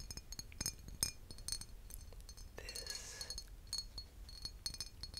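A vintage glass aftershave bottle is tapped, giving a quick series of light, bright clinks and chinks with short ring. Midway there is a brief softer scraping or rubbing passage before the taps resume.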